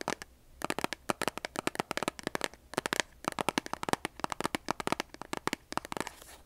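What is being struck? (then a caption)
Cardboard matchbox. Long nails tap and scratch a large cardboard box of kitchen matches with a striker strip. Quick bursts of sharp, dry clicks with bright, crisp tops stop almost instantly, with short pauses near the start and around three seconds. The clip ends in a softer, scratchy rasp.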